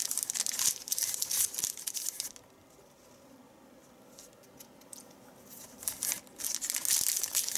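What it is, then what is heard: Thin paper sheet being crumpled. Fingertips with long nails fold and crumple a large, thin, white crinkled paper sheet with a folded edge resting on a leather chair seat. Bright, rapid crinkling and crackling fills the first two seconds, then drops to near-silence with only faint rustles. The crisp crumpling returns in bursts toward the end.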